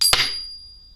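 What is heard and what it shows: A silver coin balanced on a fingertip is dropped and strikes twice in quick succession, sounding a bright metallic clink. It then rings with a clear, sustained high tone that slowly fades over the second, the ring test showing it is genuine silver.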